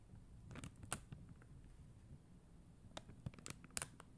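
Long mint-green nails tap a blue and clear acrylic rhinestone gem sticker sheet, making quiet, sharp, bright clicks that stop almost instantly. The taps come in two loose clusters over a soft low background hum.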